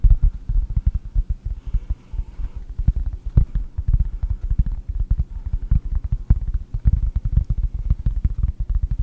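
A round, flat cork board is held in both hands at the microphone and tapped rapidly with long painted nails. The result is a steady run of short, dull, low thuds that stop almost at once, with little high-end brightness.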